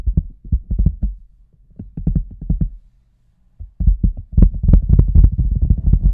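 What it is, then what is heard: Large rubber boot. Fingertips and nails tap and scratch the toe and sides of an oversized hollow red rubber boot resting on a table. The result is a run of quick, dull, deep thumps with very little ring, a short silent pause, then denser, louder tapping with faint scratchy texture.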